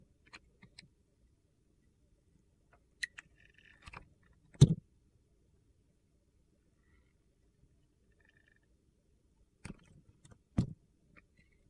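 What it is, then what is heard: Glycerin soap bar being cut. A metal box-cutter blade shaves and slices thin layers off a hand-held, solid, translucent green glycerin soap bar with a glittery green coating. Quiet, short, dull scraping cuts and faint clicks are spread across the clip, separated by near-silence. The two strongest, lowest-pitched slices come near the middle and near the end.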